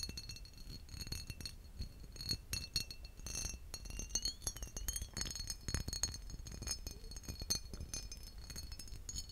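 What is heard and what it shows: A green embossed glass bottle, a hollow vessel with a textured surface, is held upright and tapped quickly with fingertips and short nails. The taps make a steady run of bright glassy clinks and light ticks with thin, high ringing tones that fade almost at once. Midway through, a brief tone wavers and glides.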